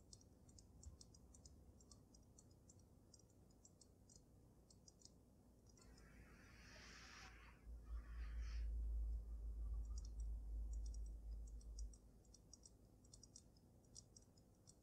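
Long nails tap rapidly on the glass dome of a water-filled dragon snow globe, making quick, bright clicks at a fairly steady pace. Midway, the tapping pauses for a soft swishing burst and a low rumble before the clicks resume.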